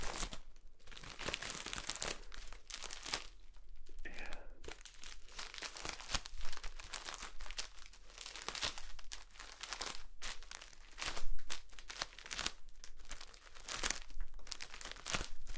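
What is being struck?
Floral foam brick in plastic wrap.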